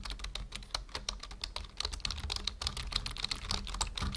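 Fingertips of both hands type quickly on a full-size black plastic membrane keyboard resting on a wooden desk. Rapid, short, bright plastic key clicks overlap in a steady stream, with a low hum underneath.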